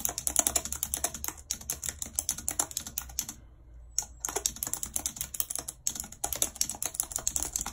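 Long red acrylic nails type rapidly on the hollow keys of a full-size white plastic computer keyboard with a numpad, lying on a world map. A dense stream of sharp, bright clicks and clacks runs throughout, with a steady faint low hum underneath. The typing briefly stops just before the four-second mark, then resumes at the same quick pace.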